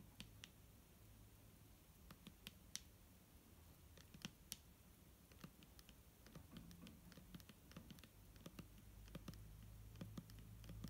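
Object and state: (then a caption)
Plastic bottle of liquid tapped with nails. Long nails tap quickly and irregularly on the label area of a clear, hollow plastic micellar water bottle held in the hand, with liquid inside. The taps are short, dry, bright clicks with almost no ring, over a low, steady background rumble.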